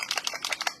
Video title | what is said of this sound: DIY Snowman Cutting Board | you can hear that little BB thing in there